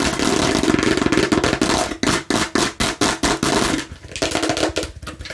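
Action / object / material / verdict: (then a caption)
tap / plastic toy watermelon slice / plastic / none. A plastic toy watermelon slice is tapped and scratched aggressively, starting with a dense, fast stream of rough, hollow plastic clatter. This breaks into separate rasping strokes that each scrape and fade, then continues as lighter, uneven scratching. The plastic gives a hollow mid tone with bright scraping on top.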